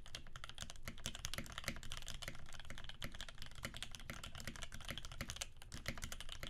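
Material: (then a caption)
Plastic. Both hands' fingertips type rapidly on a Percent Canoe 65% mechanical keyboard with a clear acrylic case, aluminum plate, cream PBT keycaps and filmed Alpaca switches lubed with 3204. The result is a dense, continuous stream of short, deep clacks with bright clicky tops, each keystroke dying away almost instantly.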